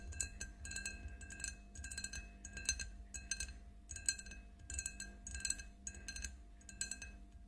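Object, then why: Empty glass drinking tumbler. Long nails tap and clink on the sides of an empty, clear faceted drinking glass standing on a table. Quick, irregular bursts of bright, glassy clicks with very short ring ride over a faint low rumble and a steady soft tone.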